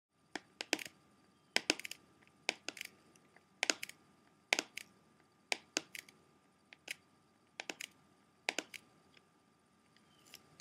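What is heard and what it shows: Fingertips and short nails of both hands tap the front cover of a closed, hollow, clear plastic CD jewel case for a Blondie album, held upright. The bright, dry clicks come in short, irregular flurries and stop dead with no ring. A faint steady tone hums underneath.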